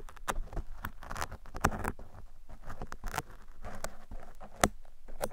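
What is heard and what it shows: Metal tweezers and picks scratch and pick across a black foam microphone windscreen, making dense, dry patter and scratchy rustling. Short sharp clicks cut through the bed of soft, crackling friction noise, which carries strong low-end thump.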